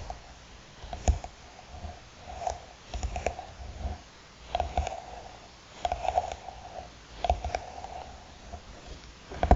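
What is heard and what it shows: Long nails tap and scratch the textured covering and edge of a closed, hollow hard eyeglasses case. The sound is quiet, irregular clusters of dull taps and rough scratching, with a faint hollow tone ringing through.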